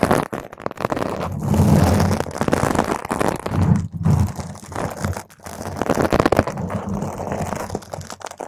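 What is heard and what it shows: Long pointed nails scratch a round purple foam microphone cover from the sides. The result is a dense, continuous crunching and crackling rumble, heavy in the low end with little bright content, rising and falling in waves with brief dips around four and five seconds.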